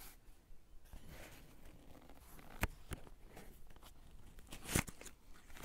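Fingertips of both hands rub and scratch across a blank white page of a spiral-bound paper sketchbook resting on a cork desk, and one hand lifts briefly at the end. The result is a quiet, continuous dry rustling and scratching with a low papery rumble, broken by two sharp, bright ticks.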